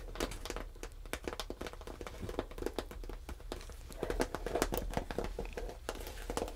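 Long red nails and fingertips scratch, tap and rub the scaled surface of a brown, tan and cream patchwork snakeskin leather shoulder bag lying flat, its body hollow. A dense stream of quick, dry scratches, crinkly rubs and short soft taps is heard over a steady low hum, with the scratching growing fuller and louder toward the end.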